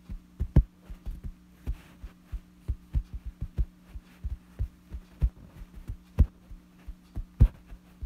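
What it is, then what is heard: Fabric bedsheet being tapped and scratched. Fingertips and a thumb scratch and tap a wrinkled, light fabric bedsheet, making a quick run of soft, muffled thumps. The thumps are deep and short, sitting over a steady low hum.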